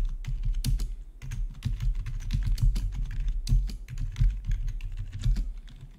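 Fingertips type steadily on a full-size black plastic RGB backlit membrane gaming keyboard with a hollow body, resting on a marble-look surface. Dense, rapid key taps each give a short, low thud with a bright click on top, with brief pauses between bursts.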